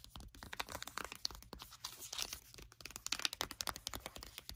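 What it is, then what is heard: Foil sachet crinkled and tapped. A flat, sealed foil sheet-mask sachet is handled and flipped over while long acrylic nails scratch and tap it. Bright, crisp crinkling mixes with quick, dry taps that stop with almost no ring. The result is a dense stream of short clicks and rustles.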